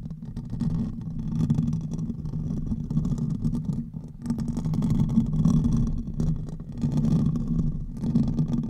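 Fingernails of both hands scratch the hollow metal mesh head of a silver condenser microphone, producing a dense, continuous, low rumbling scrape. The sound is muffled and boomy, centred around 150–250 Hz, with faint bright crackle above. It swells and eases in waves, with a brief dip just after four seconds.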